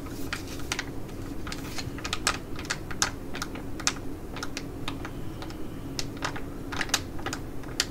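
Long nails tap and scratch a flat, filled, ticket-shaped laminated plastic Skin&Lab Korean sheet mask pouch held in the hand. The result is a run of quick, sharp, bright clicks with very short decay, scattered over a steady low hum.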